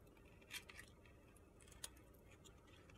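A metal box-cutter blade slices and shaves strips off a solid white soap bar with purple glitter edges. Quiet, gritty scraping runs throughout, broken by sharp, bright crunchy clicks, the loudest near the half-second mark and just before two seconds.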